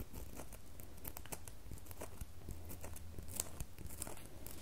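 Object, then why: Solid bar of soap. Long fingernails scratch and carve a solid red bar of soap, leaving soap shavings on the table. Quiet, dry scraping and crumbly crunches come in quick bright bursts over a steady low hum.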